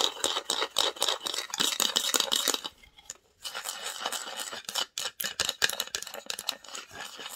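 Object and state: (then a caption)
Wooden box, scratched and tapped. Long nails scratch and tap the engraved lid of a small, hollow, varnished wooden box held at an angle. The result is a dense, bright rattle of quick scratches and crisp, dry taps with almost no low end. There is a brief pause around the three-second mark before the tapping resumes in sharper bursts.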